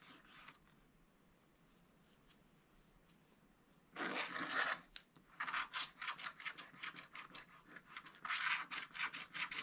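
A wooden stylus scratches the black coating off a wax-coated scratch-art paper page in a scratch-art book, working around a cardinal and leaves. Faint, sparse strokes give way to a long bright rasping scrape, then a run of quick, rhythmic scratching strokes with a dry, high, papery hiss.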